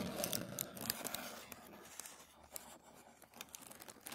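Fingertips rub and scratch a thin sheet of white tissue paper lying flat on a wooden table, making soft crinkling rustles with quick, bright scratchy ticks. The rustling is busiest and loudest in the first second, then settles into a quieter, uneven patter of light scrapes.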